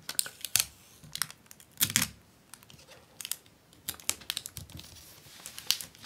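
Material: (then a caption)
Plastic film. A long, folded sheet of clear acetate book-cover film with a white paper backing lies on a wooden desk while hands with long painted nails press, rub and tap along the fold, creasing the plastic. Quick, bright crinkles and sharp clicking taps come in scattered bursts with almost no low end, each dying away instantly.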